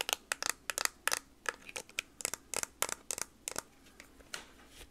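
Long nails tap a hand-sized TI-30X IIS plastic scientific calculator with a hollow case, across its keys, front and back. The result is a quick, irregular run of sharp, bright, dry clicks with almost no ring, some landing in close clusters.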